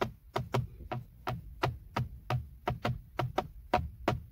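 Fingertips tap and knock 14 times on the hollow-backed black plastic airbag cover at the centre of a BMW steering wheel, next to the logo. Each hit is a short, dull knock with a low thump and a hollow mid tone that dies away almost instantly. The taps fall at an uneven pace over a faint low hum.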